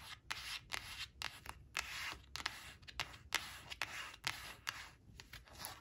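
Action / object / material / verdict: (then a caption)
scrape / coated cardboard card scratched by long fingernails / coated cardboard / none. Long acrylic nails trace and scratch across the printed surface of a thin, flat, glossy coated cardboard word card reading "black," which lies on a woven fabric cloth. The result is a quick series of short, dry, bright scratching strokes that are mostly high-pitched with little low end. Each stroke stops almost immediately, with no ringing.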